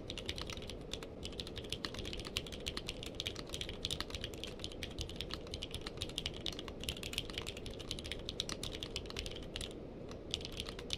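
Fingertips of both hands type steadily on a purple-cased mechanical keyboard with plastic keycaps for about 11 seconds. Rapid, bright clicks with almost no ring run close together over a steady low background rumble.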